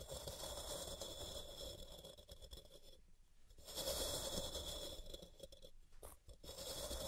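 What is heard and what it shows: Long purple-painted nails scratch the sides of a solid white, palm-sized rectangular block of pressed gym chalk (magnesium carbonate) resting on a cork mat, with powder piling up at its base. Quiet, steady dry scraping with a bright, gritty hiss runs throughout, easing into brief near-silent pauses around three and six seconds before resuming.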